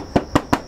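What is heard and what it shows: Aluminum siding on the exterior of a house up for auction is tapped three times by hand. Each tap gives a short, hollow metallic knock with a low tone around 290 Hz and almost no ring. The siding is in normal condition.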